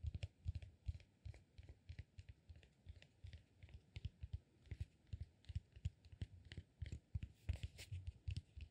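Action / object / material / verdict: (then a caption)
tap / cork peanut-shaped massage ball / cork / none. Fingertips and nails scratch and tap a solid peanut-shaped cork massage ball held in both hands. Dozens of quick, soft, dull taps come in an uneven rhythm, each with a low thump and a faint dry, bright scratch that dies away at once. The overall sound is quiet and close.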